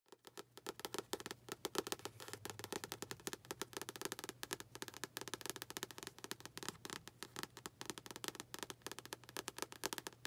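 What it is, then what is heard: Paperback book cover tapped and scratched with nails. Long acrylic nails tap and scratch the front of a medium paperback book with a glossy blue and red cardboard cover, held upright and solid. A dense, fast stream of short, dry clicks with bright, crisp edges is heard, each one dying away almost instantly, with a faint tone around 390 Hz beneath the tapping.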